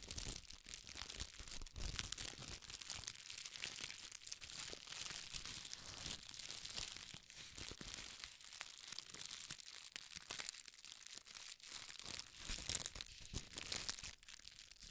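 A small wad of red tissue paper is crumpled and squeezed between the fingers, giving continuous soft, bright crinkling and crackling with dense rapid rustles. The sound stays mostly in the high range with little low end and quick, dry decays.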